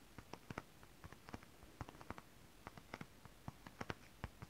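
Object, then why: Scale-printed synthetic fabric scratched with acrylic nails. One hand with long rhinestone acrylic nails scratches the surface of holographic scale-printed mermaid fabric in close-up. About 21 quiet, dry scratches and ticks come at an uneven pace, each short and crisp with a bright edge and no ring. They sit over a soft, low background hiss.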